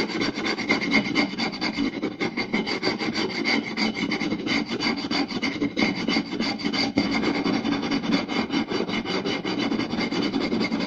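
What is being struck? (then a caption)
Round wooden plate. Fingertips and short nails scratch and rub quickly across the surface of a round solid wooden plate. The result is a dense, continuous rasping with a woody body and bright, scratchy texture, steady at a fairly strong level throughout.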